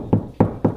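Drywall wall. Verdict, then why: Hollow. Three knocks on a drywall wall between the studs give short, hollow, low thuds that die away quickly. The wall sounds hollow at this spot, unlike over a stud.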